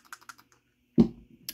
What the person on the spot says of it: you can hear them though if you shake it but that's the same with all these even the brand new one